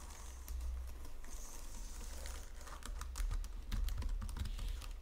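Fingertips with long painted nails type rapidly on a white plastic Logitech wireless full-size keyboard with low-profile keys resting on a marble surface. Quick, bright key taps and clicks patter over a steady low hum, growing denser and louder toward the end.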